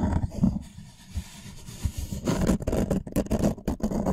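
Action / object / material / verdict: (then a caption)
scrape / thin wooden serving tray / wood / none. A thin, light wooden serving tray board is held upright and scratched and rubbed with fingernails and fingertips. The result is a dry, low-heavy scraping and rubbing, quieter in the middle and denser and more active toward the end.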